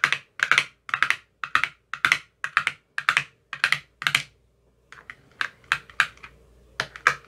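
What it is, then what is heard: Plastic ice cube tray tapped. An empty clear plastic ice cube tray with green silicone cell bottoms is tapped across its cells with a thin metal rod with a white tip. The result is quick, bright, hollow clicking taps in rapid paired bursts, each dying away almost at once. A brief pause comes near the middle, after which the tapping resumes slightly softer over a faint background hum.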